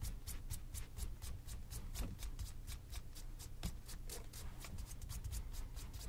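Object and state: Leather shoe being buffed with a cloth.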